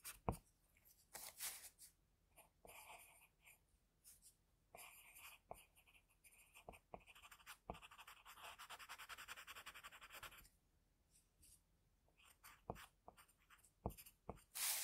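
A pencil in a metal holder scratches small strokes around a drawn eye on a flat sheet of drawing paper. Short, bright, dry scratches and taps come in quick bursts, with a longer continuous rubbing stretch of shading near the middle before the light strokes resume.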